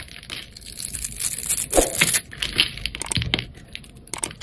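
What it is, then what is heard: Soap bar being shaved. A hand-sized solid yellow bar of soap with a thin bronze outer coating is held in the hand and shaved and scraped with a utility knife blade, sending chips flying off. Dry, crunchy scraping strokes come in quick irregular bursts with a bright, papery texture. Each stroke is short with almost no ring.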